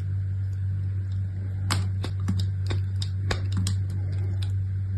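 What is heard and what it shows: A small chunk of striped brown and white bar soap, held between long-nailed fingertips, is cut and scraped with a utility knife blade. Sharp, crisp clicks and scrapes from the blade sound irregularly over a steady, loud low hum.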